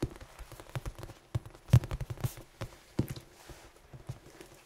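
Large head-sized red foam dice with black pips, held in both hands and tapped and scratched with the fingertips and nails. Soft, dull, low thuds come in an irregular patter with faint scratchy rustles between them, each tap dying away almost at once.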